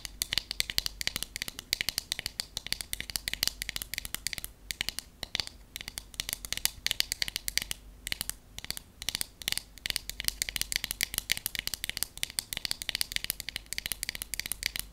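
Long acrylic nails and natural nails tap rapidly on the flat back of a solid wood paddle hairbrush for the full fifteen seconds. The result is a dense stream of sharp, bright clicks with almost no ring and very little low end, broken by a few brief pauses.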